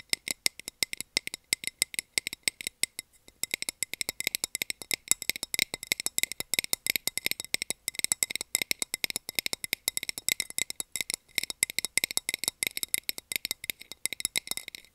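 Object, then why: Small clear plastic container lid. A small, round, clear plastic container lid with a textured surface, empty and held in the hand, is tapped and scratched with long nails. Dense, rapid, sharp clicks and scratches with a bright, thin plastic tone fill the whole clip, with almost no low end and no ringing after each contact.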